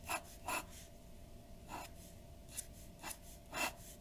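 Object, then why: Paper drawing sheet under a glass pen nib. A glass dip pen nib scratches ink strokes across a white paper sheet resting on a wooden desk. Six short, bright, scratchy strokes stand out over a quiet background with a faint steady tone, each ending quickly with almost no ring.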